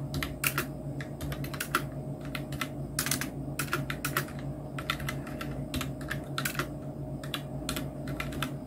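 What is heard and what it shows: Fingertips of both hands type on a full-size black Nubwo Illusion NK-70 mechanical keyboard with Outemu red switches, round plastic typewriter-style keycaps and blue backlight. A steady run of quick, clacky key taps with bright, short clicks sits over a constant low hum. Some strokes land harder than others.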